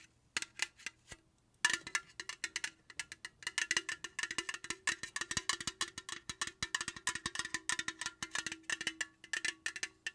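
A tall, slim, printed aluminum beverage can, unopened and likely full, is held in the hand and tapped and scratched with long pointed acrylic nails. Bright, dry metallic clicks sound in a quick, uneven stream, each dying away almost instantly. After a brief pause early on, the tapping resumes denser and livelier, mixed with light scratching.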